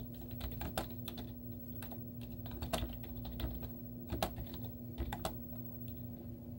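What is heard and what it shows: Long teal-painted nails and fingertips type rapidly on a white plastic laptop keyboard with cartoon stickers on its hollow keys. A quick run of short, bright clicking taps, some sharper and louder than others, sits over a steady low hum.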